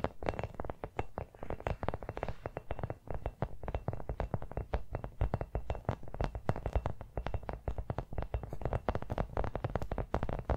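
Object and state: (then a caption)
Hollow rubber toy football. A small, hollow brown rubber toy football is tapped rapidly with long nails. The result is a dense, continuous stream of short, dull, hollow thumps, with a low body around 120 Hz and almost no brightness. Each tap dies away almost instantly.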